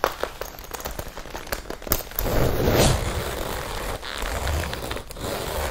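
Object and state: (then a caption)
Leather jacket being tapped and scratched. Long painted nails and fingertips tap and scratch the chest of a worn red leather biker jacket with metal zippers. Quick, dry, crackly taps come at an uneven pace, then give way to a louder, steadier rasping scratch over the leather with a soft, low-heavy body.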